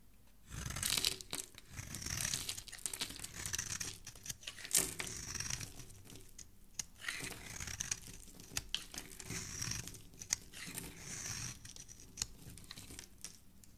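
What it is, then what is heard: Bar of soap being carved. A solid red, palm-sized rectangular bar of soap is held in a hand with dark-painted nails while a metal blade scrapes and shaves its surface, throwing off soap flakes. Dry, bright scraping and crisp crumbling bursts come in close, rapid strokes with short pauses between passes.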